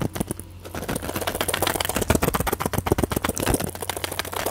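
Long fingernails tap quickly and irregularly on a small plastic and foil pill blister pack held in one hand, its orange tablets sitting in clear plastic bubbles. Each tap is a short, crisp plastic click with almost no ring, heard over a faint steady low hum.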